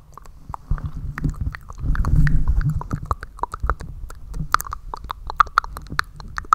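Fingertips and nails scratch and rub the hollow, fist-sized metal mesh grille of a black USB condenser microphone, while the hands also cup over it. Rapid, irregular sharp scratches and clicks carry a ringing metallic tone around 1.2 kHz with bright edges, over heavy low, muffled rumbling that swells loudest in the middle as the hands cover the grille.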